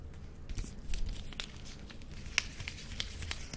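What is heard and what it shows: An unopened, small, solid Reptar chocolate bar in a colorful green and yellow plastic wrapper is held in both hands and handled with fingertips and long nails. The wrapper crinkles and rubs, giving soft rustling with brief, bright crackles and clicks over a low, quiet rumble.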